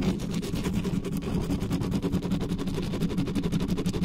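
Long nails scratch fast and hard across the top of the mesh grille of a dark metal USB condenser desktop microphone while hands grip the grille, with nothing covering it. The result is a steady, rapid, dense scratching rumble, heavy in the low end around 190 Hz, with quick rhythmic pulses and very little high-end content.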